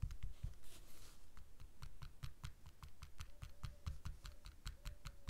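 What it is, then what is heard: Rhinestone-covered butterfly keychain. A fingernail taps and scratches a small, puffy butterfly keychain ornament densely covered in blue rhinestones, lying on a red cloth. A quick, steady run of short, bright clicks comes through, each with a soft low thump and almost no ring, and a brief scratchy rustle early on.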